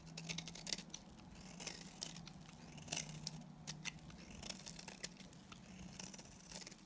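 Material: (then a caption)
Soap. A solid white oval bar of dry soap, held in the hand, is shaved with a box cutter blade. Quick, bright scraping strokes come in bursts over a steady low hum.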